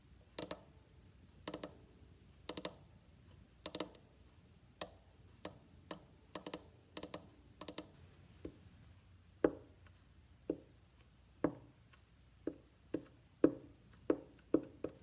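Fingertips tap the side ribs and the back plate edge of a hollow, varnished wooden violin body, making a steady series of short, dry clicks with almost no ring. The early taps are sharp and bright with a crisp high edge, while the later ones sound duller and more hollow, with a woody low-mid knock.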